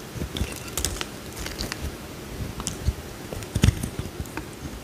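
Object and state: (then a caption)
Bar soap being carved. A small, solid cream bar of soap held in the hand is carved with a utility knife blade, peeling slices off. The result is a run of short, crisp scraping and crunching cuts with low thuds and bright edges, the loudest near the end.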